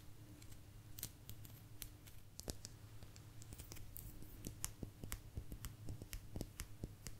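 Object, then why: Thin agate stone slice. A small, thin, solid blue agate geode slice, about hand-sized, is held close to the microphone and tapped and scratched with long natural nails. Quick, sharp, bright clicks and taps come in an irregular stream, mixed with soft scratching over a steady low hum. Each tap dies away almost instantly.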